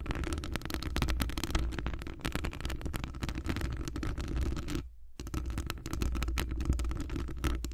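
Long acrylic nails on both hands scratch across a hollow metal wire-mesh microphone grille. The result is a dense, continuous run of crackly scratches and taps over a heavy, booming low rumble. The sound drops out briefly near the 5-second mark before the scratching resumes.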